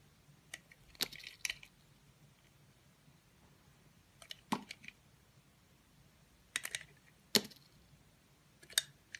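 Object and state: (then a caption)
Bar soap being cut. A green-handled utility knife blade cuts and scrapes small slices from the surface of a solid, hand-sized oval blue bar of Absolut soap held in the hand. Quiet, crisp, bright scraping clicks arrive in short irregular clusters with near-silent pauses between them, each one dry and dying away almost instantly.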